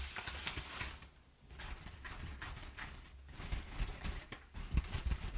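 Long nails rub and scratch across flattened, crumpled brown kraft paper packing padding. The result is dry, crackly rustling and scratching with a low rumble underneath, a brief quieter dip early on, and a few sharper scratches toward the end.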